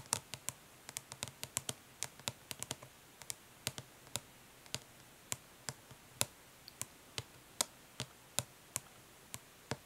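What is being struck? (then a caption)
Plastic eyeshadow palette tapped with fingernails. Long nails tap and scratch the raised lettering on the lid of a flat, hollow plastic eyeshadow palette lying on cloth. About 33 quick, bright, dry clicks with almost no ring come in an irregular, fairly fast rhythm, with some faint scratching between them.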